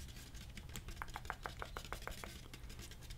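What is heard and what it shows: A hollow, medium-sized red plastic drink cooler jug with a white lid is held in the hand and tapped with fingernails. A run of quick, evenly spaced hollow clicks sits in the midrange with almost no ring, over a steady low background rumble.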